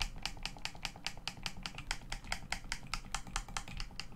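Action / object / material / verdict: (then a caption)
tap / plastic game controller / plastic / none. Thumbs and fingertips click the face buttons and sticks of a hollow black plastic Xbox One controller lying face up. About two dozen short, dry plastic clicks come in an uneven, quick rhythm, each bright and snappy with almost no ring, over a low steady hum.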